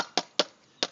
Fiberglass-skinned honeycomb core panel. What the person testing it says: it's a dull thud right there